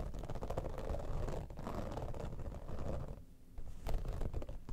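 Long nails scratch fast and slow across the top and front of an iridescent, textured holographic vinyl zippered cosmetic pouch. The result is a dense, low, rumbling scrape with quick crackly strokes that dips briefly quiet just past three seconds, then returns slightly louder.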